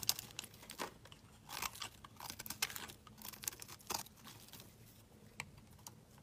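A metal utility knife blade shaves thin slices off a solid, palm-sized oval bar of pink soap held in the hand, carving and scraping across its surface. The sound is a quiet series of irregular, crisp, bright scraping and crunching strokes with very short decays, separated by soft pauses.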